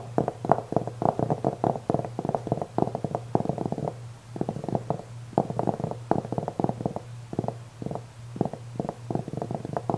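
Fingernails of both hands scratch the black velvet surface of a velvet-covered jewelry tray held upright, making rapid, soft, dry scratching bursts in quick irregular clusters. A steady low hum runs underneath throughout.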